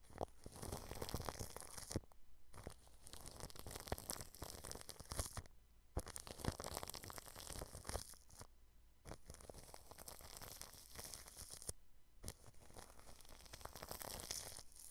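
A small paintbrush with an orange handle brushes and pokes a round desktop microphone fully wrapped in clear plastic cling film, with its metal mesh grille beneath. Close, crinkly rubbing and crackling fill the clip, heavy in the low end, with a few brief silent pauses between bursts of brushing.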